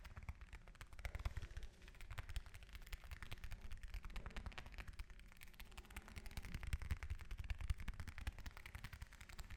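An orange is tapped with fingers and nails in a rapid, continuous stream of soft taps. The taps are dull, low thuds with short clicky edges, and each dies away almost at once.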